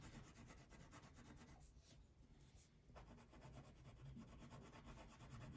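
A purple wax crayon shades a thin paper coloring sheet resting on a table, making quick back-and-forth rubbing strokes. The scratchy, low-heavy rasping runs continuously, dipping briefly softer in the middle before picking back up.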